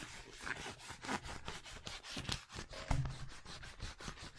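A roll of blue penguin-print wrapping paper on a cardboard tube is held upright beside the mic while fingertips and nails tap and rub along the paper surface. Soft, rhythmic papery rubbing and scratching strokes repeat steadily, with a dull hollow body and brief brighter nail scrapes, and a slightly firmer tap near the three-second mark.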